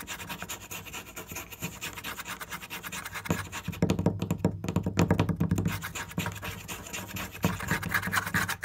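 Fingers tap and scratch quickly on a wooden surface, making dense, dry knocks with rough rubbing between them. The tapping grows louder and heavier in the middle and stays busy to the end.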